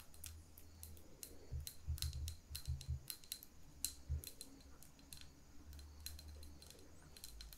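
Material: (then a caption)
Glass. Long nails tap and click on the sides of a small lit glass candle jar with wax in its lower part. The taps come as a quick, irregular run of sharp, bright clicks with a faint high glassy ring. Soft low thumps sit underneath.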